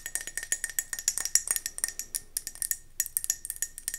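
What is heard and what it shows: A round gold mercury glass candle jar is held in the hands and tilted while long nails tap rapidly on its base and sides. About 23 quick, bright, clicky taps sound, each dying away almost at once over a faint steady glassy ring near 2 kHz. The tapping briefly pauses just before the three-second mark, then resumes.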